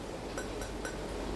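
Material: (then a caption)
Clay. Light taps on the clay inner pot of an Emily slow cooker give off short, bright ringing tones around 1.5 kHz. Each ring fades within about half a second over a low, steady background hum.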